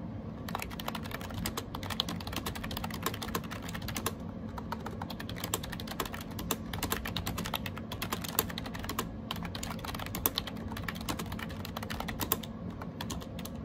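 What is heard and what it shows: Fingertips type fast on the round keycaps of a gray AJAZZ 308i plastic wireless Bluetooth keyboard, shown close-up. The result is a dense, continuous stream of short, bright clicky taps over a steady low hum, with occasional louder keystrokes standing out.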